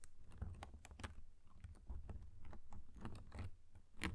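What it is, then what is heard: Paper pop-up harp card. Fingertips strum and flick the thin cut-paper strings of a paper pop-up harp inside an open card. It makes a quick run of soft, dry ticks and light flicks over a low, muffled rumble, with brief bright edges on each snap. The sound stays quiet and close throughout.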